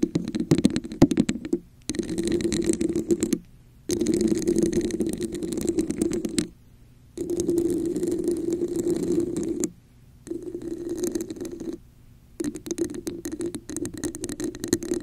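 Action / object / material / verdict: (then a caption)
scrape / plastic cup with raised texture / plastic / none. Long nails tap and scratch the sides of a hollow red plastic cup with a raised diamond texture, placed over a microphone. The result is dense, rapid scratching in six bursts separated by short silences, with a hollow, resonant midrange tone and a faint bright rasp.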